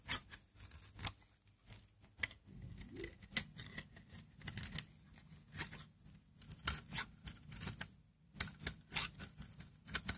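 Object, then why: Bar of olive-oil soap shaved with a blade. A utility knife blade shaves long brittle curls from a hand-held, solid, dry Aleppo soap bar with a green interior in repeated scraping strokes. Each stroke gives a short, crisp, bright scrape with very little ring, over a faint low hum.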